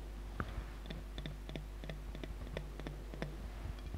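Long nails tap the glass body of a large glass jar full of red glitter water with a gold lid, held sideways. About a dozen quiet, short, bright clicks sound at irregular intervals, each dying away almost instantly over a steady low hum.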